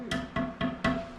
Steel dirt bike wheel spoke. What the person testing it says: you want to hear that nice little ding sound